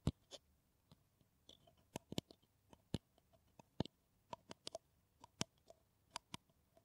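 Long nails tap and scratch on a hollow kraft paper coffee cup, making about fifteen quiet, sharp clicks spread across the clip. Faint scratchy rustles fill the gaps, and each tap dies away almost instantly with no ring.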